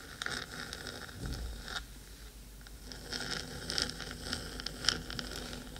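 Long acrylic nails on both hands scratch rapidly across the metal top of a hollow, black, cylindrical 3Dio binaural microphone body. The result is a dense, bright, scratchy rasping with sharp clicks and crackles, a brief low thump early on, and a quieter lull near the middle before the scratching picks up again.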